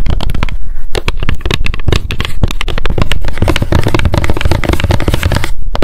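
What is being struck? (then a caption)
Small plastic hair oil pump bottle. Long decorated nails tap fast on the label side of a small square clear plastic Loretta hair oil pump bottle with a gold pump and clear cap, held in both hands. A dense, rapid stream of short clicking taps plays over a heavy low thump, with each tap dying away almost at once.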